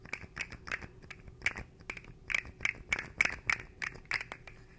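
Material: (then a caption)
Plastic. A small, hollow, articulated rainbow-coloured plastic fidget slug is held in both hands in front of a microphone while its segments are twisted and flexed with the fingertips. This produces a quick, irregular run of dry, bright clicks and short scrapes centred around 2 kHz, each dying away almost instantly over a faint low hum.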